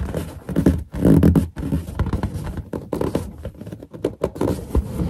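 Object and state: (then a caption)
Latex balloon rubbed and tapped. Finger pads rub the surface of a large, hollow, inflated white latex balloon with its knot visible, making squeaks. The sound is a run of irregular, rubbery squeaks and dull thuds, heavy in low, hollow tones with little brightness, rising and falling in short bursts.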